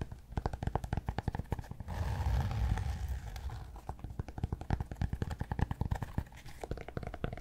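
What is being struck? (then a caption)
Cork block. Fingertips and short nails tap and scratch the flat face of a large, solid, rectangular cork block about the size of a yoga block, held upright in one hand in front of a fluffy microphone. Rapid, uneven, dull taps with a soft low thud alternate with a stretch of continuous scratchy rubbing in the middle. Every hit is short and dry with no ring.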